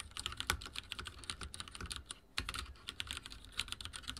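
Fingertips type on a backlit mechanical keyboard with dark plastic keycaps, producing a quick, steady run of sharp, bright clicks and clacks over a soft low thump. Each keystroke decays almost instantly. A brief pause comes just past the two-second mark before the typing resumes at the same pace.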